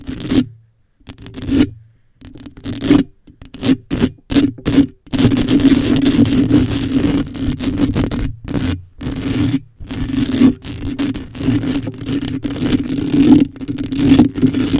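Long acrylic nails lightly scratch and rub the hollow black metal mesh head of a microphone. Short, separate bursts of raspy scraping give way after about five seconds to nearly continuous scratching, broken by brief pauses. A steady low-mid tone runs under the close, scratchy texture.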